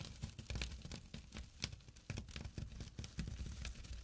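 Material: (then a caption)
Jute burlap. A small, flat, empty jute burlap drawstring pouch lying on dark cloth is scratched with short fingernails and fingertips. The quiet, irregular scratching gives a rough, papery rasp over a soft low rumble, broken by sharp, bright bursts that die away almost instantly.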